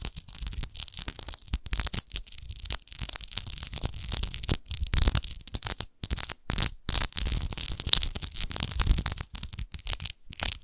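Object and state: Textured glass wine bottle.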